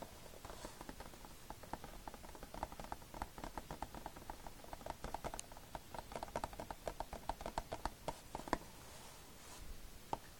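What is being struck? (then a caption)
Plastic DVD case. A hand wearing a ring scratches and taps the glossy cover of a plastic DVD case lying flat, using fingertips and short nails. Quick, dry clicks and soft scratching patter along in an uneven stream, with a hollow plastic tone around 1 kHz and almost no ring after each tap. A few sharper, louder taps stand out near the end.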